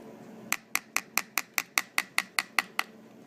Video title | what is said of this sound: Skull Anatomy4 Structures Passing Through The Skull | this is the squamous part, so it's quite thin here